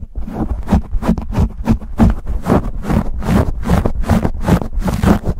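Fingertips and nails scratch and pinch a black foam windscreen on a microphone held close to the camera. The result is a fast, steady run of loud, muffled scratching bursts with heavy low-end rumble and a faint low tone underneath.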